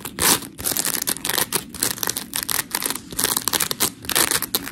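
Long pink nails scratch a white, hand-sized smiley-face scrub sponge made of porous polymer foam, then both hands squeeze and squish it. The result is a steady run of gritty, bright scratching and crackling, rising and falling in short bursts with almost no low end.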